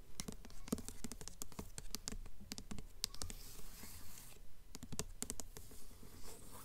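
Long nails scratch across the embossed glossy paper dust jacket of a blue hardcover book held up in the air. Quick, bright scratching strokes come in a fast, uneven rhythm, with a brief smoother hissing scrape partway through. Each stroke is dry and short, with no ring after it.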